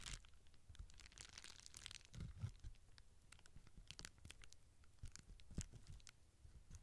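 Fingertips and long nails press and crinkle the small air-filled bubbles of a clear plastic bubble wrap sheet on the mic, and scratch across its surface. Dense, bright crackles and crinkles mix with soft, low thumps and sharp ticks. The sound continues at a steady, quiet level throughout.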